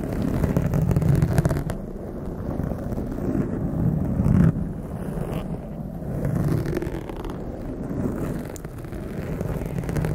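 Long acrylic nails on both hands scratch and lightly tap a soft, porous blue foam windscreen covering a large condenser microphone. The result is a close, muffled, low rumbling scrape with dull, irregular taps that swells and fades throughout, with almost no bright high end.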